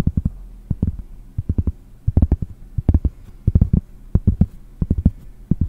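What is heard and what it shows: One hand reaches over a round pressed-cork board and taps and scratches its back with fingernails close to the microphone. Short, dull, low thumps come in quick, uneven clusters, with a soft scratchy rustle between them. The taps die away almost instantly.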